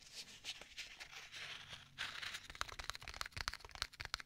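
Fingertips tap the cover of a black stitched leather folio tablet case. Soft, bright scratchy rustling comes first, then a rapid series of crisp, dry taps with little ring.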